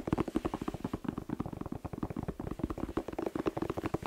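A whole fresh red bell pepper, hollow with glossy skin, is tapped rapidly with fingertips and nails. About 30 quick, short, hollow knocks run together in a steady patter, each with a dull low tone and almost no ring.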